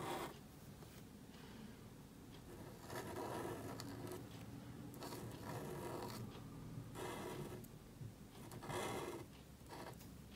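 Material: Cardstock.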